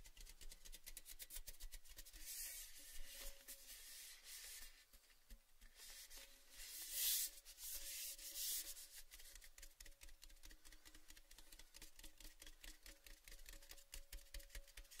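A tall, hollow, empty cylindrical red-painted metal Baileys tin, open end showing, is held in the hands and rubbed and scratched with the fingertips and nails. Quiet, bright scratching and rubbing runs throughout as a dense stream of small clicks and taps, with a few louder, hissing rubs in the middle and a faint ring from the metal.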